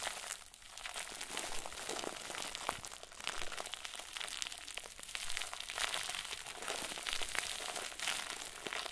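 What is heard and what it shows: A round white plastic bag filled with stuffing is squeezed and crinkled by both hands. It makes a steady, dense, bright crinkling with many small crackles and no pauses throughout the clip.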